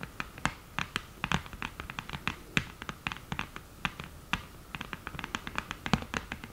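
Long green nails tap and scratch on the mirror lid of an open cardboard eyeshadow palette. A rapid, uneven run of short, dry, bright clicks mixes with faint scratchy rasps, and each tap dies away almost instantly.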